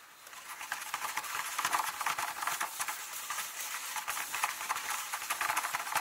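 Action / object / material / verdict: tap / paper book pages / paper / none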